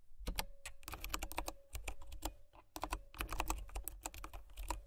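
Fingertips and nails type steadily on a white plastic mechanical keyboard with brown switches, producing a stream of short, bright key clicks over a low thocking body. The typing comes in quick bursts, with brief pauses near the first second and again around the two-and-a-half-second mark.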